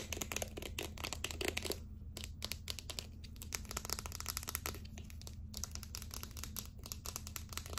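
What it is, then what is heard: Plastic deodorant stick. A small, hollow, light-blue plastic deodorant stick with its cap on is tapped and scratched with long acrylic nails. The result is a dense run of sharp, bright clicks mixed with crinkly scratching over a steady low hum, with a brief thinner stretch near the two-second mark.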